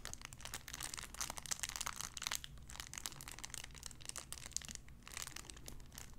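A clear cellophane wrapper around a small sun-shaped figure is crinkled with fingertips. It gives a dense, continuous run of sharp, bright crackles and snaps over a faint low rumble, with no ringing between the crinkles.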